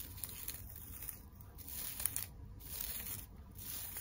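Long nails scratch the tinsel of a flat tinsel teddy bear decoration on a wire frame, working over the head and the body. The result is a quiet, steady crinkly rustle with bright, sharp tinsel scratches and brief ticks over a soft low rumble.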